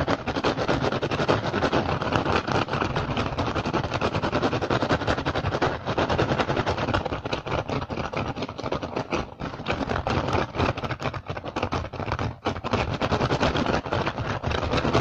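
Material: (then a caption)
Rattan. Both hands scratch fast with fingertips and short nails across the weave of a large, hollow woven rattan basket. The result is a dense, continuous scratchy crackle with a low hollow body and bright rasping texture, dipping briefly in loudness a few times before picking back up.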